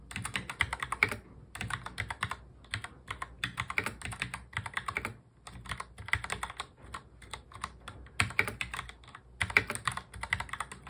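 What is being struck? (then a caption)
Plastic mechanical keyboard. A full-size black plastic mechanical keyboard is typed on quickly with the fingertips of both hands in touch typing. Rapid, bright, clicky key presses come in dense bursts, separated by brief pauses. Each click is short and dry, with little low end.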